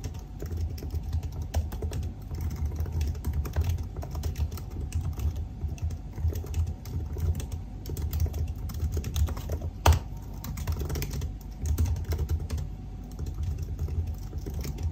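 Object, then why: Laptop keyboard with plastic keys. Fingertips type steadily on the black plastic keys of a silver aluminium laptop keyboard, producing a continuous stream of soft, muffled key taps. The sound is dull and low-heavy with a faint steady hum underneath, and one sharper, louder tap stands out near the ten-second mark.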